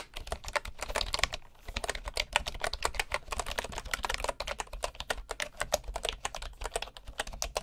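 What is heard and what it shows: Both hands type with their fingertips on the wooden keys of a bamboo keyboard, producing a rapid, steady stream of short, crisp clicks and clacks with a bright, woody edge. There is a brief pause just before the two-second mark, and a faint low hum sits underneath throughout.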